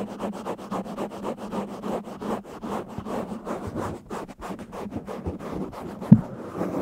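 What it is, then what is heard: Foam microphone windscreen being scratched. Fingertips and short nails scratch and rub the surface of a medium-sized, soft, hollow-backed black foam windscreen covering a microphone. Quick, rhythmic rustling strokes sound close and muffled over a steady low hum near 220 Hz. One sharper, louder bump comes near the end.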